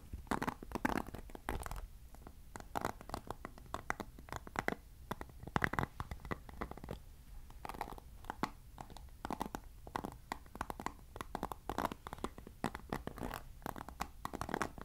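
Fingertips and nails scratch and strum the white-tipped nylon bristles of a hand-sized black plastic paddle hairbrush with a hollow cushioned head, held close to the mic. The result is dense, quiet bursts of crisp scratchy ticks with a soft hollow low-mid rumble, in irregular clusters throughout.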